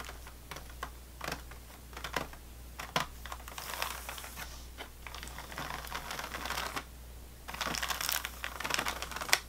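Fingernails tap rapidly across the top of an unopened, plastic-wrapped sleeve of saltine crackers. Sharp, bright clicks mix with crinkly rustling from the wrapper, with denser bursts of tapping near the end. A steady low hum runs underneath throughout.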